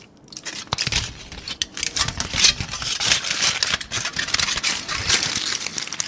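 A thin, crumpled aluminum foil sheet is held in both hands and crinkled, squeezed and scratched with the fingertips. The result is a dense, bright crackling and rustling that rises and falls in short bursts for about six seconds, with very little low end.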